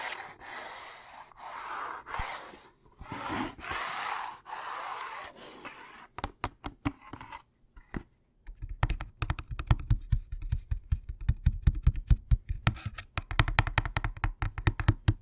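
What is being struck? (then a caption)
Cardboard candy box. A hollow Thin Mints cardboard candy box is turned in the hands, tapped and scratched with fingertips and nails. Soft, breathy scratching swishes fill the first few seconds, followed by sparse taps and then a dense run of quick, dry, low-toned knocks that carry to the end.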